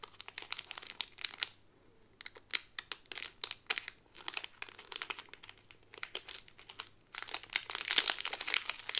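An Aristocats pin on a white cardboard card printed with paw prints, sealed in a clear plastic bag, is handled as fingers and long nails crinkle the plastic sleeve. Dense bursts of bright, crackly crinkling come in uneven clusters. A brief quiet gap falls around the two-second mark, and the sound swells into a continuous, busier crinkle near the end.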